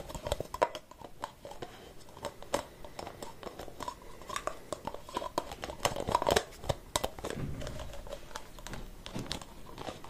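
Fingernails scratch and tap the white plastic cap of a capped aerosol spray can held in both hands. The result is a quiet, dry, crinkly scratching broken by many sharp, short clicks.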